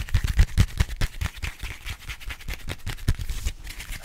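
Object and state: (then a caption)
Paper metro map booklet. Fingertips tap and scratch the cover of a small folded paper-and-card Paris metro map booklet held in the hand. A rapid, uneven run of soft, dull taps with a deep thudding body, mixed with faint, bright scratchy brushing. Each tap dies away almost instantly.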